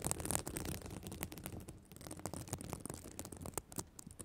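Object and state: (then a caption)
Sequin fabric notebook cover. Long black nails scratch and flip the plastic sequins on the reversible sequin fabric cover of a spiral notebook. The result is a dense run of quick, dry clicks and rustling scrapes with bright, crisp edges over a low rumble, loudest at the start and easing slightly after.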